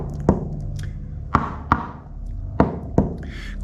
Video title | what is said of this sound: Fall 2021 - Boat Work Video #1 - Sounding the Hull | the sort of dead sound here. Quite a contrast in how it sounds.